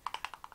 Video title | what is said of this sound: PRADA FOUNDATION VERSUS LOUBOUTIN FOUNDATION! WHICH ONE IS BETTER FOR OILY, AGING SKIN? | it's solidly in there, but it's like when I'm shaking it, you can hear it